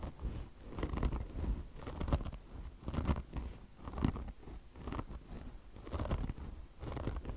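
Long blue nails scratch deeply into a beige car wash sponge made of mesh-covered foam with a chenille fringe. The result is a series of irregular, rough, muffled scratching strokes that swell and fade, with most of their weight in the low end and little brightness on top.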